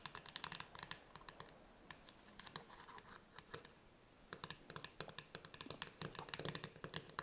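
Long red nails tap and scratch the lid of a full, closed metal tin can of chickpeas with a paper label, standing on a wooden table. Quick bursts of sharp, bright, clicky taps stop dead, broken by light scratching and a quieter stretch in the middle. The clip is soft overall.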